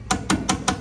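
Five taps on the steel rocker panel of a 1981 C10 pickup, checking how far the rust damage reaches, give short, dull knocks that die away almost at once. This spot sounds weak compared with the solid sections further forward.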